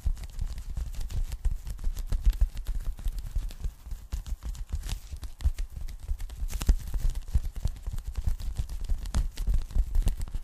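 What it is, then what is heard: Polyethylene foam packing bag. Long nails tap quickly across the surface of a thin, flat, empty pink polyethylene foam packing bag. The result is a dense, steady patter of soft, muffled taps with low thumpy weight, short decay and occasional sharper bright clicks.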